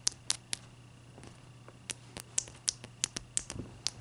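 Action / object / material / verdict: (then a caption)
tap / ice block tapped with fingernails / ice / none. Long dark-purple nails tap and scratch a clear, solid, palm-sized ice block resting on a white towel while it is turned. Twelve sharp, bright clicks ring out, each dying away almost instantly. Faint scratchy rustles and a steady low hum sit between them.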